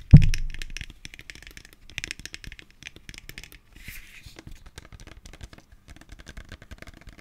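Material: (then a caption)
Plastic. Long fingernails tap and scratch a tall, translucent green plastic aloe vera gel bottle that is hollow and filled with gel. One sharp, low tap opens the clip, followed by a steady run of quiet, bright clicks and scratchy taps across the plastic.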